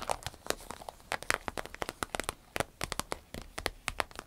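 Long nails tap and scratch the surface of an empty, medium-sized green striped glossy vinyl zip travel pouch. The result is a rapid, uneven series of short, dry crinkly taps and scratchy rustles with a bright edge and almost no ring.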